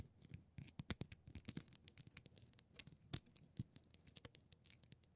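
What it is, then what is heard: Plastic rhinestone mesh sheet. Long pointed purple nails scratch and tap across a thin, flat rectangular plastic rhinestone mesh sheet of small silver rhinestones lying on a holographic glitter surface. Quick, crisp clicks and scratchy scrapes come in a dense, uneven patter, with bright, sharp ticks over a soft low thump.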